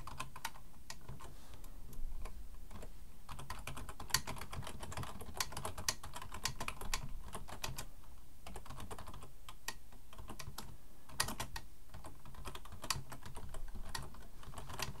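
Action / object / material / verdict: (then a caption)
tap / plastic computer keyboard / plastic / none. Both hands type with fingertips on a black plastic full-size computer keyboard resting on a wooden desk. The result is a steady stream of short, dry key clicks with bright, sharp edges over a low, dull thud.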